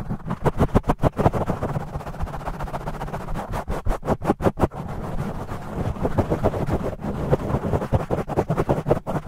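Fingertips scratch aggressively on both sides of a black foam microphone windscreen, with the audio sped up 2x. The result is a fast, continuous run of muffled, low, rumbling scrape bursts with little high-end content.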